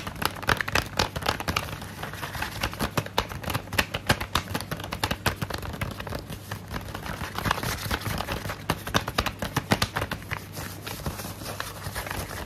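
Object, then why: Paper envelope. Fingernails tap and scratch the surface of a medium, flat, brown kraft paper envelope held in both hands. The result is a dense, irregular run of short, crisp clicks and papery scrapes with a bright edge, over a faint, steady low hum.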